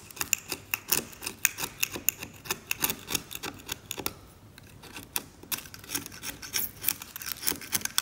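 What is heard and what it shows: A metal scalpel is drawn across the brown varnish of an oil painting, scraping it away and leaving flakes scattered around. The result is a rapid series of short, bright, dry scratches and ticks with almost no low end. A brief lull comes midway before the scraping resumes.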